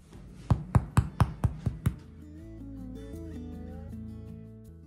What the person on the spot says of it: take the bread out of the oven and do the knock test. It sounds high. The bread is ready.